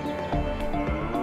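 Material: Nothing is struck.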